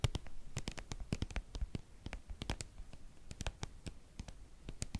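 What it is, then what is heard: Soft plastic cream tube. Long painted nails tap and scratch on a white, soft, hollow, hand-sized plastic cream tube held up close. The result is a rapid, irregular patter of short, dry clicks and light scratches, each with a dull low body and a crisp bright edge that dies away almost instantly.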